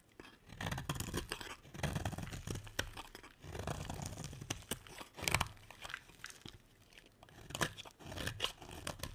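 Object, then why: Bar of soap scraped by a knife blade. A utility knife blade scrapes shavings off a solid, dry, partly carved green bar soap. Close, crisp scraping and crunching strokes come in bursts with short pauses between them. Each stroke has a gritty, bright edge over a soft low thud.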